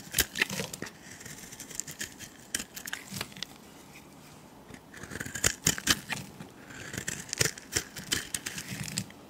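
A palm-sized, egg-shaped turquoise and white bar of solid soap, held in the hand, is shaved with a metal utility blade so that soap curls fall off. Crisp, bright scraping and crackling strokes come in quick bursts, with a quieter stretch in the middle before the cutting picks up again.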